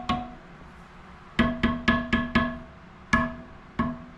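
The steel spokes of a dirt bike wheel are tapped one after another around the rim, giving eight short, bright metallic dings with a clear tone around 240 Hz that fade quickly. Each spoke rings alike, showing they are tight and evenly tensioned.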